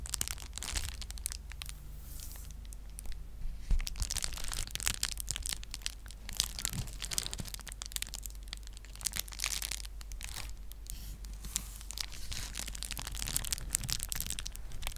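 A clear plastic bubble wrap sheet is held in the hands close to the mic and crinkled and scratched with long nails. Dense, bright crackling and scratchy rustles run throughout over a steady low hum, with no single loud pop standing out.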